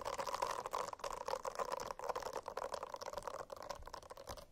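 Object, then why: Silicone-covered notebook. Fingernails scratch a silicone-covered notebook in a steady, continuous rasping that holds a mid-range tone around 1 kHz. The close, soft scrape rises and falls slightly in level without pause throughout.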